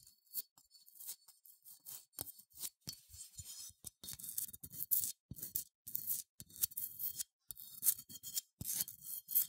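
Long nails scratch the bumpy wool of a small, cream, matte, unglazed ceramic sheep figurine with a smooth face, held in the hands. The sound is quiet, bright, dry scratching that comes in many short, rapid strokes with brief pauses between bursts and almost no low end.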